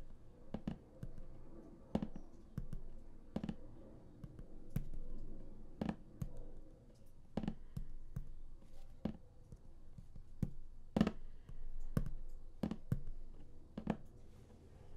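Fingertips tap and drum on the printed lid of a large, flat, closed and hollow cardboard StarCraft Heart of the Swarm collector's box. Short, dry, hollow clicks and knocks come at an irregular pace with a low body and a faint bright tick on each tap. A quiet, steady rumble runs underneath.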